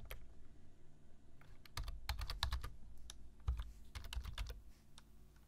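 Fingertips type on a black plastic computer keyboard, tapping the keys in an uneven run of short, sharp clicks that reach into the high range. A steady low hum sits underneath, and each click dies away almost at once.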